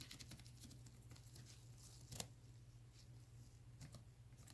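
Fingertips in black nitrile gloves tap and scratch the sides of a clear plastic Vitamin E gel bottle, about 12 oz and apparently full of yellow gel. The result is a quiet, continuous patter of soft, bright clicks and scratchy brushes over a steady low hum, with one sharper tap standing out midway through.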